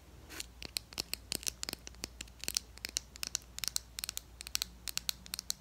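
Long acrylic nails tap and scratch around a small, capped, cylindrical plastic Wet n Wild stick foundation tube, beige with black print. About thirty quick, bright, dry clicks and scrapes land in an uneven rhythm. Each is sharp and high-pitched and stops instantly with no ring, over a faint low hum.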